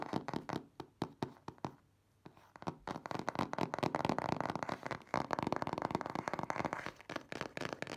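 Nails and fingertips tap and knock on the front panel of a printed cardboard box for a car cover, standing on the table and held upright. Short, dry, hollow taps come spaced apart at first, pause briefly, then build into a rapid, dense patter of knocks that fades out near the end.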